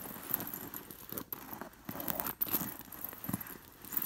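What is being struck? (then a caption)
Fabric pillow with sewn-on metal sequins. Fingers with long nails brush across a white woven cushion covered in sewn-on metal sequin discs, making the discs jingle and rustle. The result is a soft, continuous crackling with small bright clinks and a steady high shimmer.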